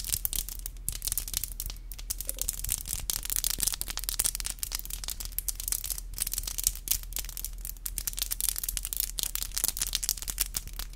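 Long black acrylic nails on both hands are tapped tip to tip in a rapid, steady stream of sharp, bright clicks. The clicking runs continuously with no pauses, over a constant low hum underneath.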